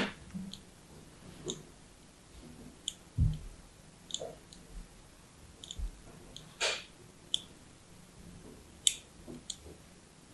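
A fine blade scores a grid pattern into the surface of a hand-held, solid orange and white striped soap bar. There are twelve short, crisp scratches with bright, high clicking edges, each dying away almost instantly over a soft, low rustle.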